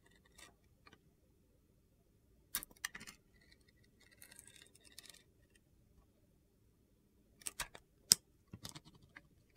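A hand-held solid bar of soap with a blue-green glitter coating and white interior, held by fingers with long red nails, is carved and scraped with a metal utility knife blade. Quiet, crisp, high-pitched scratching bursts and sharp ticking clicks come in short clusters with brief pauses between them, ending almost instantly with no ring.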